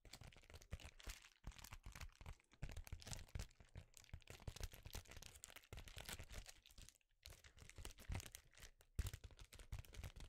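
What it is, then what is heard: Foil bubble mailer. An empty, flat, thin silver foil bubble-insulated mailer envelope is held in both hands while fingertips and nails scratch and crinkle its foil surface. Dense, bright crinkling and crunchy scratching with quick crackles run almost continuously, over a low handling rumble. Brief pauses fall near 1.3, 2.5 and 7 seconds.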